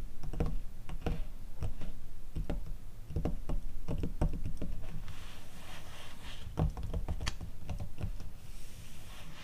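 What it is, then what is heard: Glossy paper magazine. Long teal acrylic nails tap and scratch across the page surface of an open glossy paper catalog magazine. Quick, irregular taps with dull, low thuds are heard, mixed with stretches of soft, papery scratching hiss.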